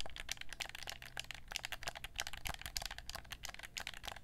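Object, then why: Hard plastic game controller. Long nails tap quickly on the touchpad, shell and buttons of a black PlayStation 4 gamepad, a hand-sized, hollow hard-plastic controller held in both hands. The result is a dense, quiet run of short, bright clicks and ticks, each dying away almost instantly over a steady low hum.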